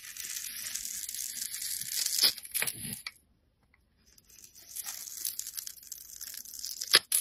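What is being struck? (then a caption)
Bar of soap. A utility knife blade scrapes across the grid-scored surface of a solid blue bar of soap, breaking off small cubes and powder. The sound is a steady, bright, crisp scraping and crunching, with sharper louder snaps near the middle and the end. A brief silent pause falls between the two passes.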